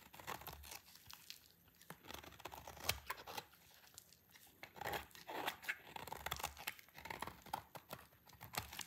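A solid rectangular dry green soap bar, held in the hand, is sliced with a utility knife blade. Its dry surface gives off a rapid series of crisp scraping, crackling and tearing crunches with bright high-end crackle. They come in close, quiet bursts that don't separate into distinct hits.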